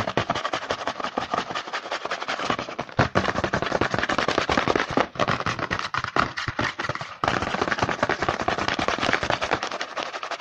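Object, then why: Small printed cardboard snack box. Fingertips rapidly tap and scratch the front face of a small, hollow, printed cardboard Hanuta snack box held in the hand, likely still full. The result is a dense, continuous stream of crisp, papery clicks and rasping scratches, bright and midrange-heavy with little low end. It breaks only briefly around the third, fifth and seventh seconds.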